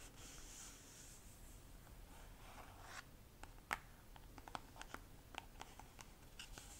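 Long nails scratch and tap along an orange squeezable plastic cream tube with a white cap, held in both hands. The first three seconds are a soft, bright, hissy scraping. Then come about a dozen sharp, short clicks of nail taps over quiet rubbing.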